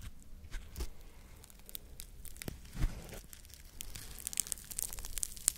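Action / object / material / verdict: scrape / foam scrub sponge with scouring side / foam / none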